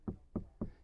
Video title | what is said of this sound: 2025 Ford Transit Custom MS-RT Upgraded with the Best Security and Audio | you can hear that's a really solid sound